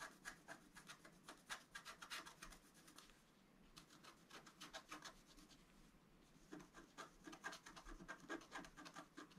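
A wooden stylus scratches near the lower right of a flat, black-coated scratch art card, about A4 in size, lying on a table. Quick, dry, bright scratching strokes come in bursts, softening to a faint rub in the middle before picking up again.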